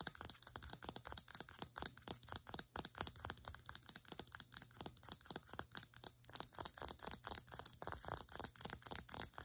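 Long acrylic nails tap rapidly on the sides of a small cylindrical plastic serum bottle held upright. The result is a fast, steady stream of crisp, bright clicks, each dying away almost instantly, over a faint low hum.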